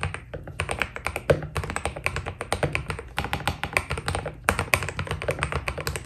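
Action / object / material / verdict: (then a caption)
tap / mechanical keyboard with plastic keycaps / PBT plastic / none. A white Keydous NJ80 mechanical keyboard with PBT keycaps is typed on quickly with the fingertips of both hands. It gives a dense, steady run of short, sharp clacks with bright top end over a low, thudding body, each keystroke dying away almost at once.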